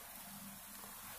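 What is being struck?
Nothing is struck.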